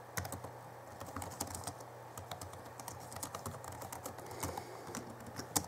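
Both hands type rapidly with their fingertips on the backlit chiclet keyboard of a 2011 Alienware M11x laptop with plastic keys. The clip is a quiet, steady stream of short, bright, clicky key taps with a faint low hum underneath.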